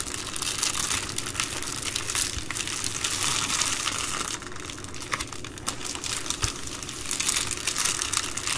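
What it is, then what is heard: Plastic bubble mailer. Fingers press, rub and crinkle the bubbled plastic of an empty Amazon Prime poly bubble mailer. The result is a steady stream of dense, bright crinkling and crackling with little low end, dipping slightly quieter midway before picking back up.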